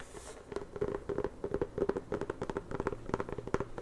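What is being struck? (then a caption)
Inflated rubber basketball. A full-size inflated rubber basketball, hollow, is scratched and tapped with long nails across its textured surface. About twenty quick, dry taps and scratches come in an uneven run, each with a short hollow ring around 390 Hz that dies away almost at once.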